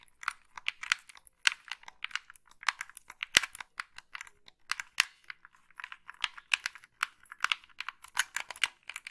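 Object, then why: Plastic game controller. Long pink nails tap and scratch the body and buttons of a hollow black plastic gamepad held in both hands. The result is a steady stream of quick, dry, bright clicks and scrapes with almost no low end, irregular and close together, like fast typing.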